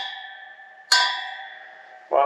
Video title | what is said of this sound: Motorcycle Wheel Lacing & Truing | All the spokes are nice and tight. You can hear them all ring when I tap them.